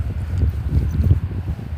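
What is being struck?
Nothing is struck.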